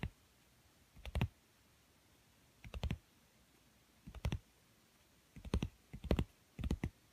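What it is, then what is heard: Cardboard book cover. Long manicured nails and fingertips tap and scratch a thin yellow cardboard book cover lying flat on a woven mat, including along its edge. Quiet, dull, low-heavy clicks come in short clustered bursts spread through the clip, each dying away almost instantly, with near silence between them.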